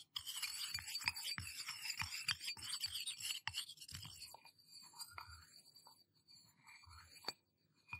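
Fingertips and nails tap and rub the sides of a small, empty, hollow stainless steel tumbler held in both hands close to the microphone. For the first four seconds there is a rapid run of bright, scratchy taps over a thin, high metallic tone. After that it eases into quieter, sparser rubbing and a few light taps, each sound dying away almost at once.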